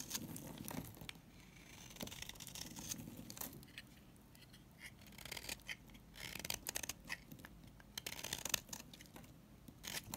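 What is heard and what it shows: A coral-colored bar of soap is scraped with a utility knife, shaving off crumbly flakes. It makes a series of quiet, dry, bright scraping and crackling strokes with short gaps between them.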